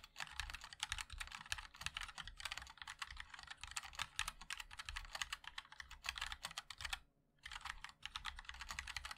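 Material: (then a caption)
Plastic. Fingertips of both hands type continuously on a compact 60% MOD-L mechanical keyboard with a black case, white and black plastic keycaps and linear switches. A rapid stream of short, bright clacks with a soft low thock underneath runs throughout, with a brief pause near the seven-second mark before typing resumes.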